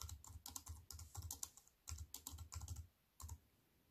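Fast typing with fingertips and long white nails on a compact wireless keyboard with black plastic keys in a thin silver aluminium frame, resting on a wooden table. Quick bursts of crisp, bright key clicks over a soft low thump, each tap dying away almost at once, with short pauses between runs. The typing ends in a final brief flurry before going quiet.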